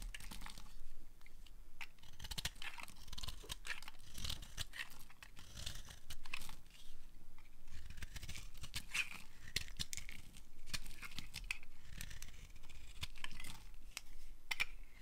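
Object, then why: Bar soap carved with a knife blade. A utility knife blade carves the edge of a solid, dry pink bar of soap held in the hand. It makes a steady run of crisp, crunchy scraping and crackling shavings with bright, brittle edges over a low, dull handling rumble.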